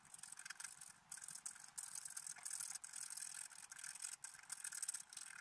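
A pointed wooden stylus scratches across a flat, black-coated scratch art paper sheet, about A5 and solid, lying on a table and held down by one hand, to reveal a deer picture underneath. The sound is a dry, bright, raspy scratching in quick bursts separated by brief pauses, mostly high hiss with almost no low end.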